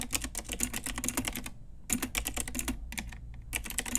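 A full-size pink Ajazz typewriter-style retro mechanical keyboard, with round plastic keycaps on a hollow plastic case, is typed on with long nails and fingertips. Quick bursts of bright, hollow plastic clacks and taps with a low thud beneath are broken by two brief pauses. Each keystroke ends almost instantly.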